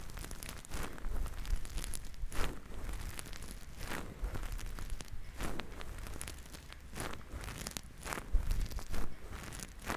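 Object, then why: Synthetic fur microphone windscreen. Fingertips squeeze and knead two fluffy grey synthetic-fur windscreens covering the capsules of a binaural microphone. The result is a continuous close crinkly rustling and crunching, with bursts of brighter crackle over a deep low rumble that swells and fades with each squeeze.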